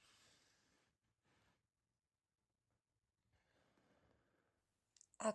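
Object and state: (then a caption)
Crisp bread crust. A freshly baked homemade country loaf, baked in a covered dish and then uncovered until golden, is handled to show its crispy crust. Faint rustling and crackling come first, followed by two sharp, bright taps at the end, the last one the loudest. The crust is crispy outside, and the inside is soft and fluffy.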